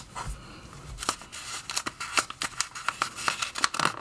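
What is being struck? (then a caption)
Glossy paper magazine. Fingertips lift and turn the thin pages of an open glossy paper magazine, forwards and backwards, rubbing the paper. A quick series of crisp, bright rustles and short snaps is heard, with little low end and almost no ring after each one.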